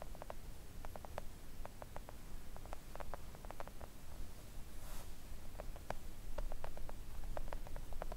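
Long acrylic nails tap quickly on a flat pink silicone nail art mat lying on a table. The taps are soft, dry, short clicks with almost no ring, scattered in uneven bursts over a steady low rumbling hum. There is a brief hiss near the middle.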